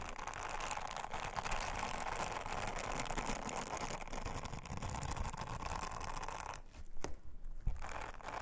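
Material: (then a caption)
Silicone. An orange silicone bristle scrubber is rubbed by long-nailed fingers over a flat, thin, round blue silicone honeycomb trivet, making a steady, dense brushing and scratching texture for about six and a half seconds. The rubbing then drops away, leaving a quieter stretch broken by a few sharp ticks and taps.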